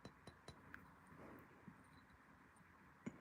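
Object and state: Glassy-sounding stone piece.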